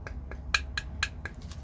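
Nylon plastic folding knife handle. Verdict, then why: Hollow. Six light, evenly spaced taps on the hollow reinforced nylon plastic handle of a standard Benchmade Griptilian folding knife give short, bright clicks with a brief hollow ring around 1.6 kHz over a low background hum. The hollow handle makes the knife lightweight but gives it a cheap feel.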